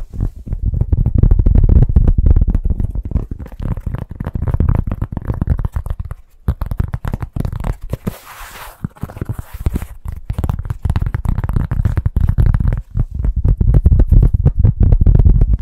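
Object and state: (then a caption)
Cork pot stand. A large, solid, round flat cork pot stand is tapped and scratched rapidly with fingertips and nails, producing dense, dull low thuds with almost no ring. Around the middle the tapping briefly stops, then gives way to softer, hissing scratches before the fast, heavy tapping resumes to the end.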